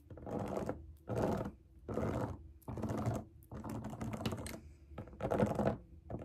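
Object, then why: Silicone pop it fidget toy scratched and tapped with long nails. Long acrylic nails scratch and tap the bubbles of a large round rainbow silicone pop it fidget toy resting on a table. The sound is repeated bursts of dense, rapid, scratchy clicking, broken by short pauses, over a faint steady low hum.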